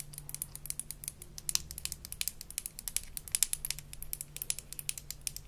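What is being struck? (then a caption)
Small plastic toy toothbrush. Long nails scratch the molded bristle head and tap the handle of a small blue plastic toy toothbrush from a Melissa & Doug Super Smile Dentist Kit. The result is a rapid, uneven string of dry, bright clicks and scratchy ticks that stop instantly with no ring, over a faint, steady low hum.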